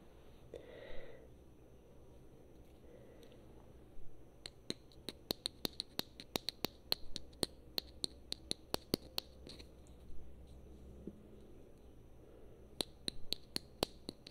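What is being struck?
Small plastic figurine.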